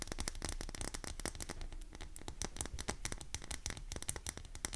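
Long nails rapidly scratch and tap the embossed surface of a solid pink oval bar of soap, unwrapped, dry and held in both hands. A dense run of short, dry clicks and scrapes carries bright, crisp edges over a low body, with each tap dying away almost at once.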